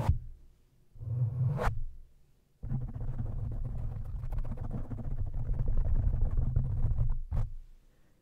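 A black foam windscreen over the head of a silver studio microphone is scratched and rubbed by both hands with fingertips and nails, its soft, porous foam pressing against the hollow metal grille. A short scratch at the start and a second burst around one to two seconds give way to a long, steady stretch of dense, deep, rumbling scrapes. The sound is almost entirely low, muffled rumble with no bright content, fading out near the end.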